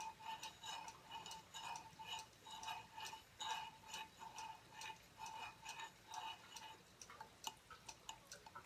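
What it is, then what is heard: Aluminum tablet stand being tapped. Fingertips and nails tap the thin, rounded plate of a silver aluminum tablet stand lying tilted on a wooden table. About 22 short, quiet metallic taps come in a loose rhythm, each with a brief ring near 900 Hz and a bright click. The taps grow quicker, lighter and more scattered toward the end.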